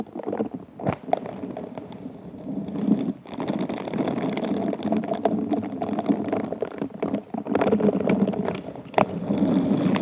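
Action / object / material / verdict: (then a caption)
scrape / textured glass wine glass / glass / none. Pink silicone bristle gloves rub, scratch and tap with the fingertips across the bowl of an upside-down, hollow, empty hobnail-textured stemmed wine glass. The result is a dense, continuous bristly scratching with a warm midrange tone around 580 Hz, broken by many quick, dry taps and brief louder swipes.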